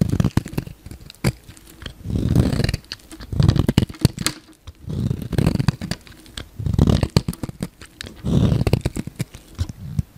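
A utility knife blade scrapes and carves a solid, palm-sized pink bar of soap so flakes fall off. Dense, crisp scraping strokes come in repeated low, muffled bursts, broken by short sharp clicks and brief pauses.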